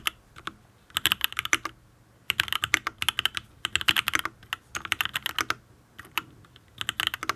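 Fingertips type on a full-size custom mechanical keyboard with an aluminium case, ABS keycaps and linear switches. Short bursts of quick, bright, crisp key clacks come in clusters separated by brief pauses, each stroke dying away almost instantly.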